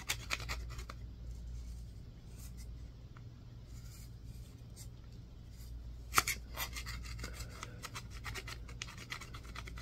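A solid green bar of soap is scraped with a yellow-tined, wooden-handled tool and turned between strokes. Bursts of dry, bright scratching and crisp clicks come in clusters, loudest just after six seconds, over a steady low hum.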